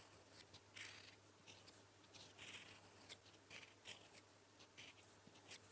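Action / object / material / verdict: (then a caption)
scrape / metal fountain pen nib on lined paper / paper / none. A gold-toned metal fountain pen nib, held in the fingertips, writes Korean letters in blue ink on a flat sheet of lined writing paper resting on a solid surface. Seven short, bright, scratchy strokes come through quietly over a steady faint low hum.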